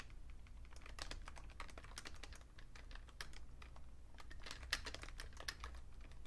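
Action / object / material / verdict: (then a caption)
tap / plastic computer keyboard / plastic / none. Fingertips type steadily on a vintage beige plastic full-size Fujitsu Siemens keyboard with a hollow case, making quick, bright clicking taps that die away almost instantly. A steady low hum sits underneath throughout, and no voice is heard.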